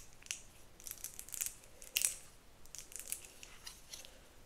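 Long nails tap and flick the teeth and spine of a pale pink, hand-sized, solid plastic wide-tooth detangler comb held close. The result is a quiet, irregular run of dry, bright clicks and scratchy ticks with almost no ring, the loudest flicks arriving near the middle.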